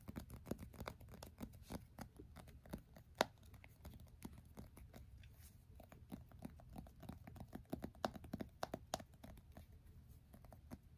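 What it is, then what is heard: Smartphone in plastic case, tapped. An iPhone in a black plastic case is held sideways in both hands while fingertips aggressively and rapidly tap its glass screen and case edges, like typing. A fast, uneven stream of short, dry clicks and taps comes through with no ringing, each tap dying away at once.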